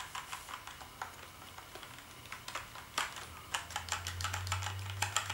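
Fingertips type on a black plastic gaming keyboard with backlit keys, producing quick, irregular clicky keystrokes with bright, short ticks. A steady low hum sits underneath and grows louder toward the end as the typing speeds up.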